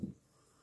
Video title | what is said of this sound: FAA'PAPA POPO and BANANAS. SAMOAN SWEET BREAD | You shake it. It's brown and yeah, and you can hear the juice in it.